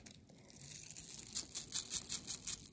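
A strand of pearls is picked up and shaken to tell real pearls from fake ones. The result is quiet, bright clicking and rattling that builds into a run of rapid, high-pitched clacks in the second half. Whether the strand is real or fake is not given.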